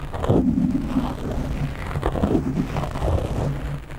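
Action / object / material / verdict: scrape / foam microphone windscreen / foam / none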